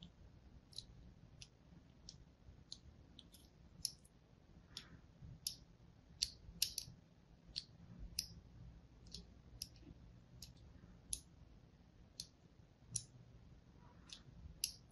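A fine blade scores a crosshatch into the surface of a hand-held, solid blue and white striped soap bar. It makes a steady series of short, crisp, bright scratching clicks with almost no ring, over a faint low hum.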